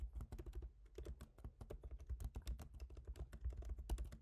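Both hands type rapidly with their fingertips on a MacBook Pro keyboard, its black plastic keycaps set in a silver aluminum body. A steady, quick stream of soft, short clicks is heard, each with a low thud beneath a brief bright tap that dies away almost at once.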